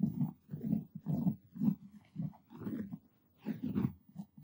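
Fingertips and short nails on both hands scratch and rub the looped pile of a purple textured cotton terry towel draped over a padded object. The result is a series of soft, muffled rubbing bursts, dull and low with little brightness, separated by brief quiet gaps.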